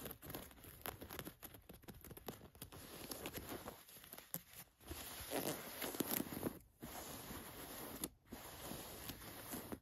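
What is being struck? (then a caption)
Cotton canvas jacket. Long nails scratch an olive cotton canvas work jacket with paint spots, lying flat, raking across the fabric and the pocket flap. Quiet, dry scratches and rasping strokes come in irregular bursts, with brief pauses between passages.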